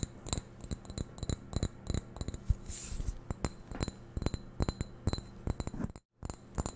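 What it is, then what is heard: Ceramic vase tapped and scratched with nails. Long nails tap and scratch the surface of a hollow, medium-sized white glazed ceramic vase. The rapid, clicky taps have a bright ringing edge over a low hum, with a brief scraping hiss in the middle and a short silent gap near the end.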